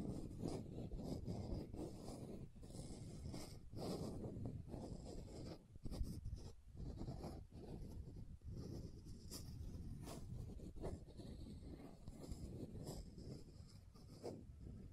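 Long nails scratch along a pink plastic sunscreen bottle with a gold band, held horizontally. The result is a quiet, continuous rasping scrape with a low, dull body and occasional brief dips and sharper strokes, with no ringing.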